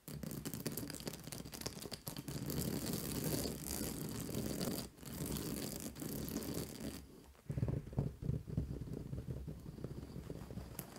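Long nails tap and scratch the white plastic spike discs of a large purple fabric acupressure mat. The result is a dense, continuous rasping and clicking texture with brief pauses near 2, 5 and 7.5 seconds, weighted toward a low rumble. Sharper taps stand out after the last pause.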